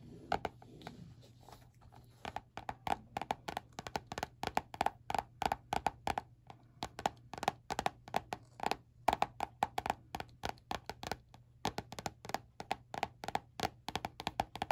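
Painted fingernails tap and scratch the glossy peach-print laminated cardboard cover of a small spiral-bound notebook held at the edge. Dozens of quick, dry, hollow taps with a mid-pitched tone around 715 Hz come in rapid uneven bursts. Each tap dies away almost instantly, with soft scratching and a faint low hum underneath.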